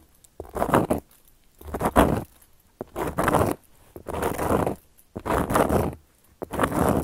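Long gold metal claw nails tap and scratch across a round, flat, solid cork coaster. Six dry, rasping bursts of scratching are separated by brief silences, several opening with a sharp tap. The sound is mostly mid-range with little ring.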